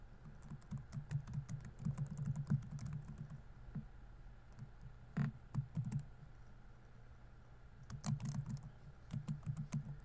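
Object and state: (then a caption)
Plastic laptop keyboard. Fingertips type on the plastic keys of a laptop keyboard, giving soft, muffled clicks with a low thump under each press and almost no ring. Quick bursts of typing come in clusters with short pauses between them.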